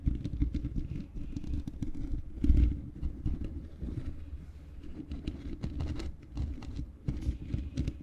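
Long fingernails scratch and tap on the bare black metal mesh grille of a large hollow microphone. The result is a continuous, dense, low rumbling scrape threaded with quick, bright ticks, swelling to its loudest burst around two and a half seconds before settling back to a steady crackle.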